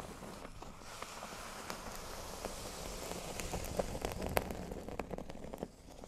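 A flat, thin, solid cork board lying on a table is scratched with fingernails, first across the center and then along the top edge. A soft, steady crackling rasp fills the clip, with brief sharp ticks and clicks standing out as the scratching grows slightly louder before easing off near the end.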